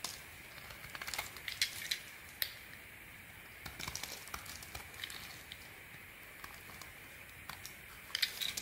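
A small metal blade scrapes and shaves flakes off the carved face of a solid orange bar of soap held in the hand, in repeated carving strokes. The quiet, bright scratching and crisp crackling flicks sit mostly in the high range, with sharper peaks near the start and end over a faint steady hiss.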